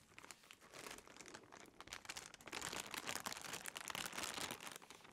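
A clear, thin plastic bread bag with a loaf inside is held in the hands and crinkled while being opened. Dense, bright crackling and rustling runs throughout, softer for the first two seconds and then louder and busier. Little low-end body comes through.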